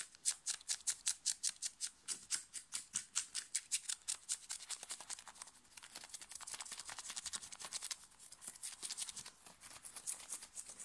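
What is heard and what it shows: Fingernails scratch fast and aggressively over the sleeve and chest of a thin, worn, light blue cotton t-shirt. Quick, bright, raspy strokes come in a steady run at first, then blur into a denser, quieter scritching texture. The sound is almost entirely high-pitched hiss with no low end.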